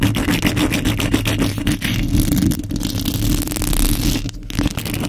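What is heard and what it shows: Long nails and fingertips scratch the hollow metal mesh grille of a microphone fast and aggressively. The result is a dense, continuous rasping scratch with a heavy low-end rumble and a steady hum near 300 Hz, with rapid strokes blurring together throughout.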